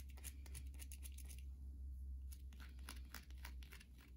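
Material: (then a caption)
Soap. Long glossy nails scratch and tap across the scored top of a hand-sized solid white bar of soap. Quick, bright, crisp scratching ticks come in rapid bursts, easing briefly in the middle, over a steady low hum. The overall level stays quiet and even throughout.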